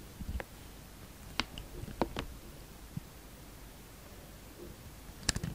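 A palm-sized, solid translucent green Dalan soap bar is held in the hand and shaved with a utility knife blade. Eight short, crisp scraping clicks with bright edges stand out over a low, quiet background, spaced irregularly with a closely grouped cluster at the end.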